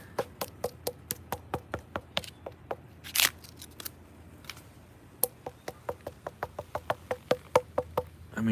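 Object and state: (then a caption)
Solid coconut palm trunk. A trimmed coconut palm trunk is knocked on after a freeze, giving 29 short, dry, woody knocks with a hollow-free tone around 500 Hz. The trunk sounds solid, and the palm's centre is still green, so it might survive.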